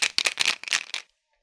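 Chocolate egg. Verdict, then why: Not hollow. A chocolate egg is shaken, and loose contents inside rattle in a quick series of bright, high-pitched bursts with no low end, stopping after about a second. The rattle shows the egg is not hollow and has something inside.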